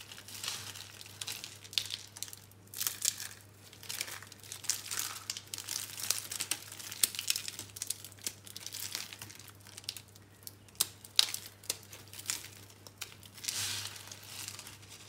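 Bare fingers press and crush small, hollow, dry green-and-pink recycled soap curl rolls into crumbs on a blue surface. Bright, dry crunching and crinkling come in irregular bursts over a faint steady low hum.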